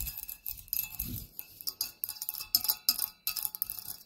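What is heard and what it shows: Long nails tap on the hollow cup body and wire legs of a black wrought-metal, spider-shaped tealight holder, making about sixteen bright, dry metallic clicks in an uneven rhythm. Each tap is sharp and high with almost no ring, and a soft, lower rubbing sound comes through around the first second.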